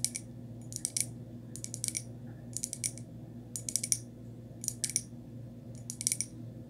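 Long nail tips tap and scratch the outer surface of a small, hollow, empty white glazed textured ceramic pot held upside down. Quick bright clicks come in short clustered bursts with almost no ring, separated by brief pauses over a steady low hum.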